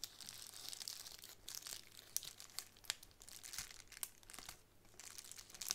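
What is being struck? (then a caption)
Plastic bubble wrap sheet. A plastic bubble wrap sheet is held in the hands and crinkled and scratched with long nails. The result is soft, bright crinkling and scratching dotted with sharp, brief crackles and ticks, with almost no low end.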